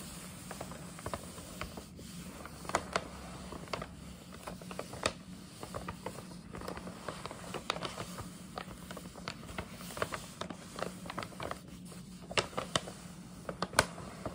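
Long nails quickly tap and scratch the front panel of a medium, hollow printed paper gift bag with a scalloped top. The result is a steady run of short, dry clicks and papery scratches over a low hum, with brief sharp ticks reaching bright highs.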